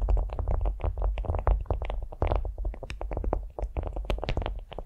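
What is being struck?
Beeswax-coated cotton food wrap.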